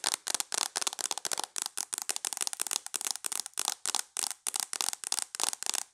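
Long nails tap fast on the screen of a tablet held in a mint plastic case, making about 22 short bursts of sharp, bright clicking. The taps are dry with almost no ring and barely any low end.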